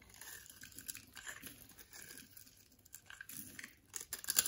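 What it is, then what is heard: Bar of soap being scraped. A box-cutter blade scrapes cubes and flakes off the surface of a partly carved, solid orange bar of soap held in the palm. Quiet, bright, crisp scraping and crumbly crackling run throughout, with little low end, and grow louder and sharper near the end.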